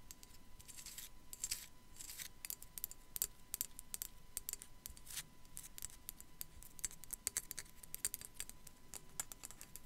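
Long black acrylic nails scratch and tap on a small hollow white glazed ceramic sugar skull with raised decoration, held in the hand. Quiet, rapid, bright clicks and scrapes with almost no ring follow one another throughout, over a faint steady tone.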